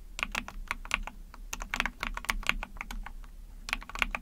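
A small backlit Epomaker TH40 44-key mechanical keyboard, with an ABS plastic case, PC plate and pink and white keycaps, is typed on rapidly using long painted nails and fingertips. It produces a fast stream of sharp, bright plastic clacks centered around 2.4 kHz, each dying away almost instantly, over a faint low hum. The typing comes in quick bursts with a few brief lulls between them.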